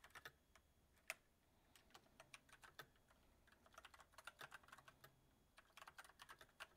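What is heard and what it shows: Fingertips of both hands type on a full-size mechanical keyboard with white plastic keycaps on a silver metal frame, its backlight turning on partway through. Quiet, sharp, bright clicks come in irregular bursts, with one louder isolated strike early on and a brief lull near the end. Each keystroke dies away almost instantly.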